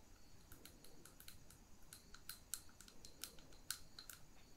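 Long pink nails tap on the side and near the rim of a small glass jar holding a lit wax candle. The result is a quick run of light, bright glassy clicks with a short ring over a faint low background hiss.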